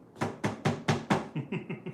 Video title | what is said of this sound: 🔴 DIY Organizer From An Old Toolbox - WNW | this sounds hollow even though it's not